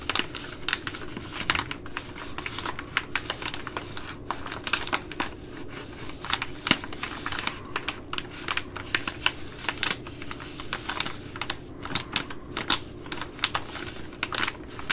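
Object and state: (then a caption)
Plastic rice pouch. A Ready Rice plastic laminate pouch, held in both hands, is tapped with long glittery nails. The result is a steady stream of quick, bright clicks and light crinkles with very little ring, over a faint low hum.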